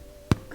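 A freshly baked whole wheat black sesame bread loaf, just out of the oven and resting on a cooling rack, is tapped lightly. It gives a short, dull, low-pitched thud that dies away almost at once. The loaf is baked through well.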